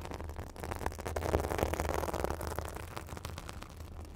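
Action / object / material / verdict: scrape / synthetic fibre bath sponge / synthetic fibre / none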